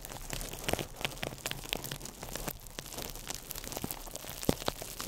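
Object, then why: Crumpled plastic wrap. A small ball of crumpled clear plastic wrap is held in the fingertips over the microphone and squeezed and crinkled. It makes a dense, irregular stream of sharp, bright crackles and pops with very quick decay over a soft, steady hiss.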